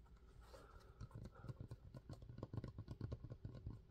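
Fingertips quickly tap and scratch the strap, upper and textured sole of a hollow, empty yellow Crocs-style molded foam clog with holes and a strap, held in hand. The result is a fast, irregular run of soft, dull, low-pitched thumps with a faint scratchy texture. Each tap dies away almost instantly.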